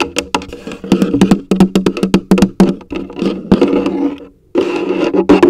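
A large, hollow orange plastic coffee canister, likely empty, is held first upside down and then upright while being tapped with long acrylic nails and fingertips. Quick, irregular taps give short, hollow, woody knocks with a mid-low body and bright nail clicks, each dying away almost at once. After a brief near-silent pause, a denser flurry of tapping resumes.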